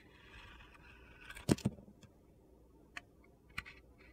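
A utility knife shaves thin white strips from a solid white soap bar with a yellow-orange glitter coating, held in hand. Soft, gritty scraping leads into two louder, crunchy cuts close together, followed by a few faint, sharp ticks over a low background hum.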